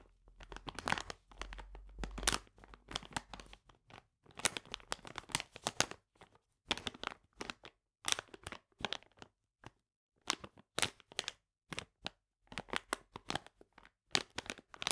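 Fingernails scratch and tap a full plastic bag of polenta lying flat on a table. Bursts of bright, dry crinkling and rustling come with short pauses between them, and each sharp crackle stops almost instantly.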